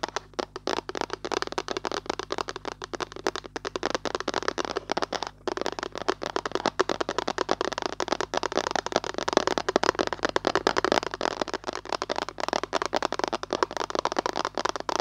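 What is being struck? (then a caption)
Plastic lotion bottle. A hollow white Nivea plastic lotion bottle is tapped rapidly with long nails, producing a dense stream of short, dry clicks. The taps have a hollow plastic tone centered in the low-mid range and die away almost instantly, with bright edges at each tick.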